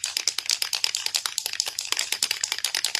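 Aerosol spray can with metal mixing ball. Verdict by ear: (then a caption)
Empty. A nearly empty metal aerosol can of spray adhesive is shaken hard, rattling the mixing ball inside. About two dozen rapid, sharp, bright metallic clacks are heard, with almost no low end and no ring after each hit. The can is shaken until the ball is heard rattling.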